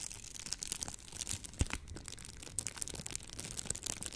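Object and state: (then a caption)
Plastic bubble wrap. Clear plastic bubble wrap, rolled into a tube and held in front of a microphone, is squeezed and pressed with fingertips and long nails. It makes a continuous bright, close crinkling and crackling with scattered sharp ticks and one louder snap near the middle. The sound stays quiet overall, with dry clicks that stop instantly.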